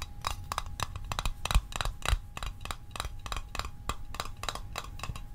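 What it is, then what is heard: Small metal mint tin. A small, hollow, rectangular printed metal Altoids Arctic mint tin is tapped with the fingertips and short nails, held close to the microphone. Rapid, irregularly spaced taps give short, dry metallic clicks with very little ring, a few landing harder with a low thump. A faint steady tone hums underneath throughout.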